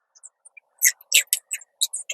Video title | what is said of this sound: 가지, 이렇게 먹고 10키로 감량한 세나킴만의 레시피/너무 맛있어 그맛이 자꾸 생긱나 여름내먹고 다이어트했어요/여름이되면 꼭 먹는 세나킴 요리 | 지금 이렇게 튀겨놓고 다 식었는데도 바삭합니다. 바삭한 소리 들리죠?